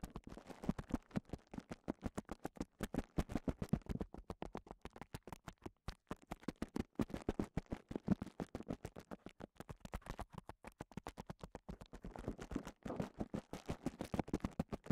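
Clear plastic bubble wrap is rolled into a cone and held in one hand while the fingertips of the other hand scratch and press the bubbles. The result is a steady, rapid stream of short, dry crinkling taps and scratches, mostly low-to-mid in tone with little high-end brightness, continuing throughout the clip with no ringing between them.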